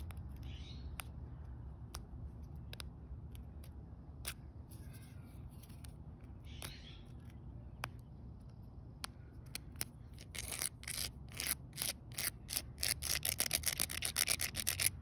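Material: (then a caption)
Concrete. Long painted fingernails and a small twig scratch and rub across a solid outdoor concrete slab set with rounded pebbles, producing sparse, sharp clicks over a low, steady rumble. After about ten seconds, the scratching turns quicker and denser, becoming a run of bright, crisp scrapes and taps.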